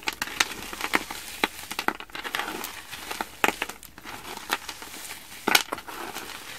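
A mound of small, colorful, frozen foam sponge cubes on a wooden surface is squeezed and crushed between both palms and fingertips. The result is dry, bright crinkling and crackling, with sharp snapping pops scattered through the rustle and almost no low end.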